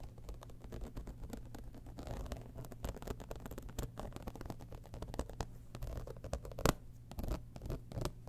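Fingernails scratch the textured side panel of an embossed, holographic faux-leather cosmetic bag lying tilted. The result is a dense run of quick, dry scratching and ticking strokes over a steady low hum, with one sharper, louder scrape near the end.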